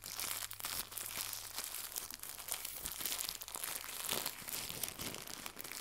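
Fingertips with red nails twist, stretch and crumple a small white crinkly plastic gift bow pulled into two lobes. The result is a steady stream of bright, dense crinkling and crackling with almost no low end, and the sharp snaps die away instantly.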